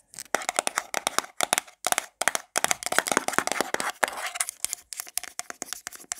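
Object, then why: Small plastic jar with lid. Long black nails rapidly tap and scratch a small, round, hollow black plastic got2b hair product jar with a lid, held in the hand. The result is a fast, uneven stream of sharp, dry clicks and bright scratchy bursts with almost no low end and very little ring. A faint hollow tone sounds beneath the taps.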